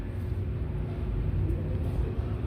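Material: Nothing is struck.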